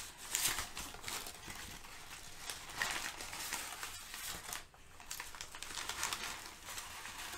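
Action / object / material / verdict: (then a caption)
scrape / brown kraft packing paper / paper / none. Sheets of crinkled brown kraft packing paper, held at the edges by both hands with painted nails, are crumpled and rubbed together. The result is a bright, hissy crinkling that swells and fades in uneven waves, with sharper crackles between them and little low end.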